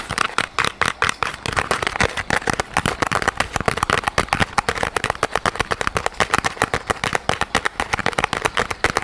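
A small, soft yellow rubber squishy toy shaped like a pineapple, with a textured surface, is held close to the microphone and squeezed and scratched with fingertips and nails. The result is a steady stream of rapid, dry crackling clicks and scratches, bright and centered in the midrange, with very little low end and no ringing between strokes.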